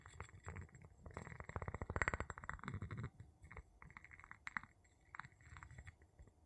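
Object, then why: Glass jar tapped with a wooden pestle. The tip of a wooden pestle taps and rubs the bottom of an empty clear glass jar with a gold metal lid, held in the palm. Quick, dry glassy clicks with a short ring around 2 kHz sit over soft low thumps, in a dense, louder flurry through the middle. The clicks then thin into scattered lighter taps and scrapes.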